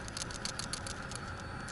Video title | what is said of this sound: How to Fix White Smoke on Start Up 1/3 (PCV Valve Change 2011 Toyota Camry Hybrid 2.4L 4 cyl.) | Goes up and down, opens up and closes.